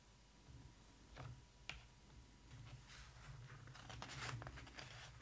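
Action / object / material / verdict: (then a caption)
tap / glossy paper pages of a hardcover book / glossy paper / none. Long acrylic nails tap and scratch across the glossy printed paper pages of a large hardcover photo book lying open, and then a page is turned. Quiet, crisp ticks and bright, papery scratching rise over a steady low hum, ending in a louder rustling swish as the page turns.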